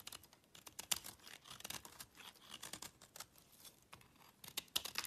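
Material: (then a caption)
Soap. A solid oval blue-and-white speckled soap bar, held in the hand, is cut and scraped with a small yellow-handled knife, sending soap chips onto a black surface. The result is a quiet, rapid run of short, crisp, bright scrapes and crackles with almost no low end and no ring after each stroke.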